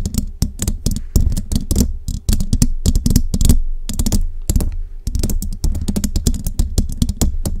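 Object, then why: Metal mesh microphone grille. Long jeweled nails on both hands rapidly tap and scratch the hollow metal mesh grille of a large microphone. The result is a dense, fast patter of short, dry clicks with a deep, boomy low end and bright, crisp edges that cut off almost instantly.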